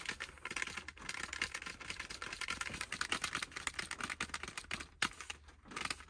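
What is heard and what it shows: A snack bar in a partly opened green plastic wrapper, lying on a lap, is tapped and scratched quickly with the fingertips. The result is a dense, continuous run of crisp, bright crinkling taps and scratchy rustles with short, dry decays and almost no low end.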